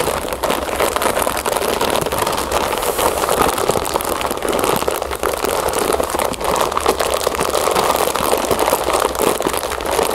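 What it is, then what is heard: Plastic bag of cereal puffs. Long nails scratch and squeeze the sides of a full, clear plastic bag of cereal puffs held upright. The result is a continuous, dense crinkling and rustling with quick scratchy bursts, strongest in the midrange and extending up to a bright hiss.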